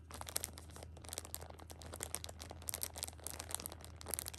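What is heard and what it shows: Fingers scratch, squeeze and rub the crinkly plastic film wrapped around a six-pack of pocket tissues. The result is dense, bright crinkling with many sharp, quickly fading crackles over a steady low hum.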